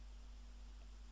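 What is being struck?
Nothing is struck.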